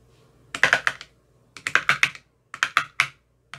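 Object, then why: Plastic ice cube tray tapped with a thin metal rod. A thin metal rod with a white rounded tip taps inside the hollow cells of an empty, translucent frosted plastic ice cube tray with 15 compartments. Sixteen short, bright, clicky taps with little ring come in three quick bursts of about four to six, and a final tap starts at the end.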